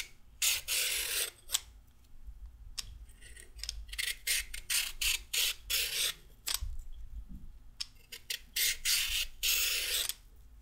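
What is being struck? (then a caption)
Raw carrot scraped with a peeler. A single whole, solid raw orange carrot is held in one hand and scraped lengthwise with a handheld peeler with a red/pink plastic handle and metal blade, while other carrots lie still on a wooden table. Each stroke gives a bright, raspy scraping burst, coming in an uneven rhythm with short quiet gaps between. Thin strips of peel come off the carrot.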